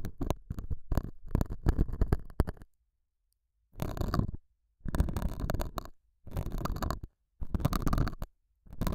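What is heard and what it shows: A metal dental scaler hook scratches the surface of a small, solid, square beige felt pad mounted over a small lavalier mic. It makes muffled, low, rumbling scrapes: a quick run of short strokes for the first few seconds, then a pause and five longer scratching bursts separated by brief silences.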